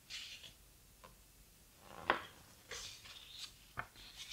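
Fingertips rub and turn the heavy paper pages of an open, thick, large hardcover photo book. Soft, airy page rustles and brushing swishes are broken by a few sharp, crisp paper snaps, the strongest near the middle. The sounds are quiet and dry, with bright high hiss and almost no low end.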